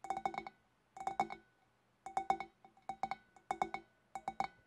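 Long dark-painted fingernails of both hands tap the upper shoulder of a large, empty, clear glass fish bowl with a wavy rim. The quick clinking taps come in six short bursts, each giving a bright, glassy ping that rings briefly around a mid-high tone before fading.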